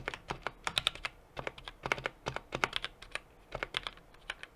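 Rapid typing on a small 60% mechanical keyboard with an aluminum case, brass plate and plastic keycaps, struck with the fingertips of both hands. Quick bursts of sharp, bright key taps with crisp clacks come in clusters separated by short pauses. Each tap dies away almost instantly and carries little low end.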